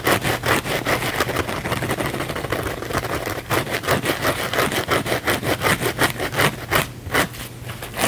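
A small blue cellulose kitchen sponge with a scouring pad is held in one hand while the fingernails of the other hand scratch fast across its scouring-pad surface. This makes a dry, bright, rasping scratch in quick, somewhat uneven strokes of about two to three per second. Each stroke is short, with a steady low hum underneath.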